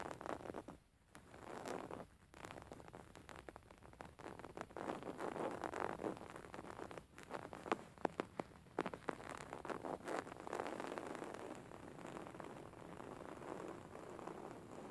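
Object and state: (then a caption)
Linen fabric cushion. A beige woven linen fabric cushion lies flat while fingertips and nails of both hands scratch and grip its surface. The result is a quiet, dense, continuous scratching and rustling texture, concentrated in the mid-range, with short sharp clicks and brief pauses scattered throughout.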